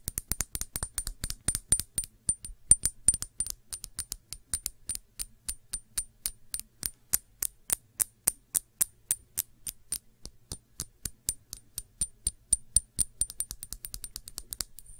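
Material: Glass.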